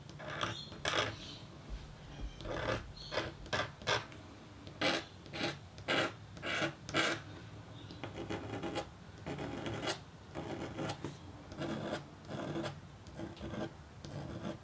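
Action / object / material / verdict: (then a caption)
scrape / metal stylus on coated copper-foil board / copper foil / none. A red-handled metal engraving stylus scratches lines into a flat, thin, black-coated copper-foil scratch-art board, exposed through a small window cut in a white paper mask. Short, dry, raspy scraping strokes come in quick bursts with brief quiet gaps between them. The strokes have a bright, gritty edge over a faint low hum.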